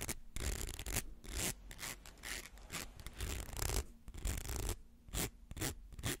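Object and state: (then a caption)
Plastic slinky scratched. Fingernails scratch along the ridged coils of a small, hollow, coiled plastic rainbow slinky held in the hands. Rapid, uneven bursts of dry, raspy scraping sound bright and broadband, with short, ribbed rattles and a soft low rumble underneath.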